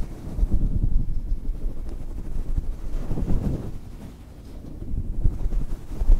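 Fingertips of both hands rub and scratch a fluffy grey-white synthetic faux fur windscreen covering a small microphone. The soft, fibrous fur produces a dense, muffled low rumble with almost no high end, swelling and easing in waves like wind buffeting.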